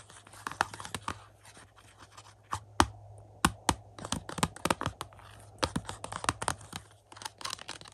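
Fingertips and nails tap and scratch a thin, hollow black plastic 4K UHD movie case for 2001: A Space Odyssey with a paper insert, held and lying on carpet. Quick, dry clicks and taps come in uneven clusters, mixed with soft scratching and a faint low hum underneath.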